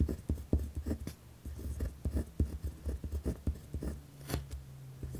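A pen tip scratches across a white lined paper pad resting on a wooden desk while writing. The result is a series of short, dull, low-heavy scratching strokes, each stopping quickly with almost no ring and little brightness.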